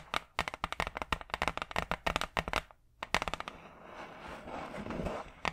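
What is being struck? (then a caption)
Hardboard clipboard. Long acrylic nails tap quickly on a large, flat, brown hardboard clipboard, a solid thin board held in front of the mic. Crisp, dry, bright clicks come in a rapid run and stop briefly. A few more taps follow, then a soft, scratchy rubbing over the board swells, and one last sharp tap ends the clip.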